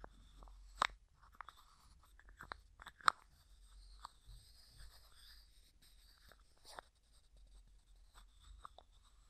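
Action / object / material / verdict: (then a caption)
tap / small plastic jar with plastic screw lid / plastic / none. Fingertips and nails tap, scratch and twist the white plastic screw lid of a small, hollow, clear plastic cosmetic jar with a few small items inside. Soft, quiet scratching is broken by sharp clicks at irregular intervals, with the two loudest near 0.8 and 3.1 seconds. Each click is dry and dies out at once, with its main tone around 1.3 kHz and a faint high hiss above.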